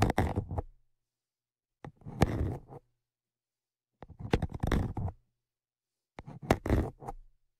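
Tweezers poke and scrape between and over the grilles of the metal X/Y microphone capsules on a Zoom H5. Four separate bursts of close scratching and clicking come about every two seconds, each lasting under a second, with silence between them. Being right on the capsules makes the contact sound deep and rumbling, with sharp ticks on top.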